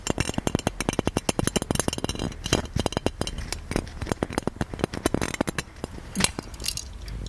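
Fingertips and nails tap and scratch the engraved body and spout of a hollow gold-plated metal genie lamp, heard up close. Dozens of quick, bright metallic clicks and clinks follow one another with almost no ring, over a soft low background hum and brief scratchy rustles.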